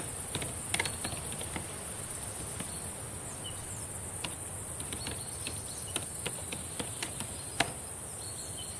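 Long decorated nails tap on the plastic keys of a black laptop keyboard, producing soft, sharp clicks scattered irregularly over a quiet background. A steady high-pitched hiss runs throughout, with a faint low rumble underneath.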